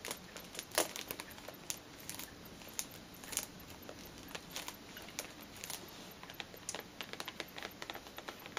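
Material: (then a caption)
Cellophane, cardboard. Long painted nails tap and scratch the front and sides of a tall, pale blue cardboard perfume box sealed in cellophane, standing upright on a fleece cushion and held in both hands. The result is a steady stream of quick, bright crinkling ticks and scratches over a quiet background, with a few sharper taps standing out.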